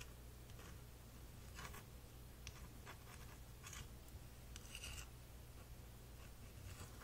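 A flat, thin, solid printed wooden puzzle piece shaped like an elephant, about hand-sized, is held in one hand and scratched and tapped with the fingernails of the other. Soft, dry scratches and light taps come in brief bright bursts over a steady low hum. The sound stays quiet throughout.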